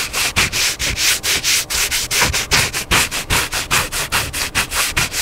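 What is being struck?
Paper hardcover book.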